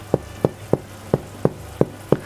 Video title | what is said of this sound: ХЛЕБ из муки грубого помола! "Грубый Хлеб" для доброго здоровья! | вот если постучать по дну вашего хлеба и вы слышите вот такой звук значит он полностью пропёкся